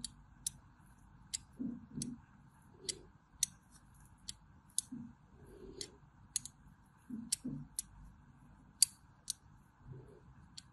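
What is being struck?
Soap bar scored with a small metal blade.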